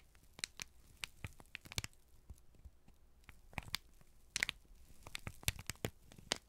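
A folded, crinkled sheet of brown kraft paper is held in both hands and squeezed and crumpled with the fingertips. It makes a quiet, irregular run of sharp, bright crackles and crinkles that stop instantly, over a faint low background hum.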